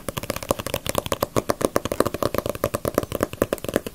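A small, solid Dragon Ball paperback manga with a glossy paper cover is held upright and tapped and scratched with long nails on the cover. Quick, dry clicking taps with a mid-range knock repeat in a steady, dense rhythm over soft scratchy rustling, with almost no ring after each tap.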